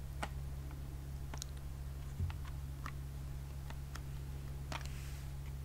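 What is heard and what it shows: A small flat white cardboard package with a clear plastic blister tray of press-on nails is held in both hands and tapped rapidly with long acrylic nails. Sharp, light clicks come at irregular intervals over a steady low hum.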